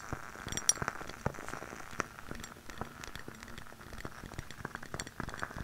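Long nails tap and scratch the glass surface of a lit glass jar candle held close to the mic. Irregular bright clinks with very short ring sit over a soft, steady scratching hiss.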